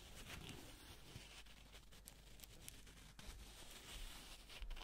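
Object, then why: Paper banknote. A single folded yellow paper banknote is squeezed and crinkled by black-gloved fingers close to a microphone. The result is a quiet, continuous crackling and rustling with bright papery texture over a soft low rumble, with a few slightly louder crinkles toward the end.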